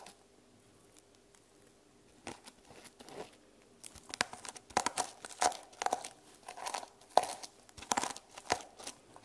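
Fingernails scratch and brush across the reversible plastic sequin cover of a small hardcover journal held in both hands. After a near-silent opening, soft crinkly scrapes start around two seconds in and grow into louder, denser bursts of sharp, bright clicking and rustling, with a slight tonal rasp in the midrange.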